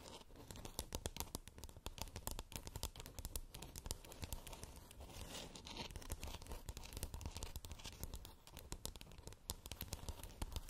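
Long nails scratch and tap a glowing, palm-sized spherical moon lamp made of hollow 3D-printed plastic with a textured surface. The result is a dense, continuous run of dry, crackly scratches and quick clicks with a full low body, each sound dying away almost instantly.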